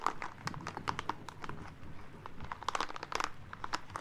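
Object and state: Rubber spiky ball.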